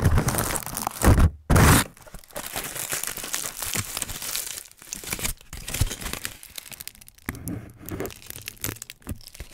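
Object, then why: Thin aluminium foil sheet. A thin aluminium foil sheet is pressed over a microphone grille, lifted off, then crinkled and rubbed with fingertips. Two loud, boomy bursts of close contact with deep low thumps come early, followed by a steady, irregular stream of bright crinkling, crackling and papery tearing-like rustles.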